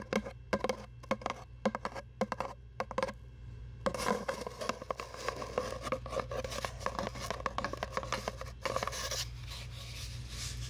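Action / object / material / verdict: scrape / cardboard tube / cardboard / none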